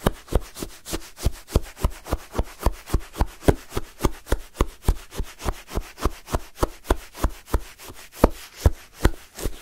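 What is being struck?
Shaved ice sherbet scraped with a wooden spoon.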